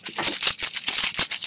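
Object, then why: Bunch of metal keys. A bunch of metal keys is shaken, giving a rapid, bright jingling and clinking concentrated in the high range with almost no low end. Around nine quick jangling bursts run together over a second and a half, each dying away almost instantly.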